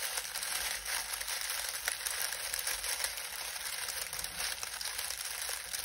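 Fingertips knead and crush a pile of dried lemon balm leaves. The result is a continuous, dense, dry crackling and crinkling rustle that stays bright and hissy, with almost no low end and a steady level throughout.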